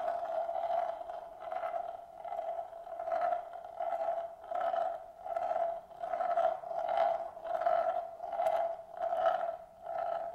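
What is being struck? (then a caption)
Glass marble rolling in a shallow bamboo plate. A single glass marble rolls in circles on the inner surface of a large, shallow, hollow bamboo plate that is empty and held in both hands. The result is a continuous hollow rolling hum with a steady tone near 660 Hz, which swells and fades in loose repeating cycles a little under a second apart as the marble circles, with brighter scraping overtones at each swell.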